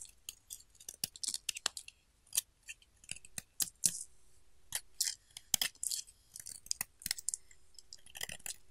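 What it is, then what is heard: Bar soap being carved. A pink solid bar of soap, carved into a chunky shape, is scraped and cut with a metal utility knife blade. It gives a quick series of short, crisp, bright scraping and crunching bursts with little low end. Quiet gaps fall between the strokes.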